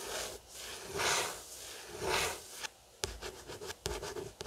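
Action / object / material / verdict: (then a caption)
scrape / paperback book with card cover / card / none. Fingertips and short nails scratch and trace across the matte card cover of a closed paperback copy of Mansfield Park lying flat on a wooden table. Two long, slow strokes swell into soft, bright, papery hisses, followed by a run of quicker, sharper scratches with short gaps between them.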